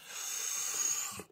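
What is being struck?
Nothing is struck.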